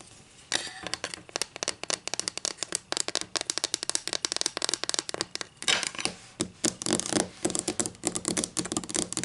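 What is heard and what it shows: Long nails tap and scratch a solid wooden ruler, held at first and then lying on a table. A rapid, uneven stream of bright, dry clicks and scratchy strokes comes after a brief quiet start. Each hit dies away almost at once, with little low end.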